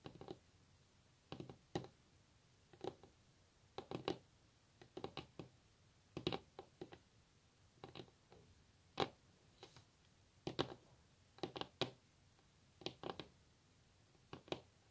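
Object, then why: Wooden table top tapped with fingernails. Long natural fingernails tap and drum on a solid wooden table top, close up. Quiet, dry, sharp clicks come in irregular bursts and pairs with brief pauses between. Each tap stops almost at once with no ring, leaving a faint hiss in the gaps.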